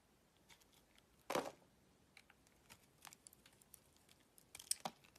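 A utility knife blade shaves chunks off the surface of a solid oval green branded bar of soap held in the palm. Quiet, crisp scraping and cutting strokes come as short, bright, dry bursts with no ring. The loudest cut lands early, and a cluster of sharper shaves follows near the end over a near-silent background.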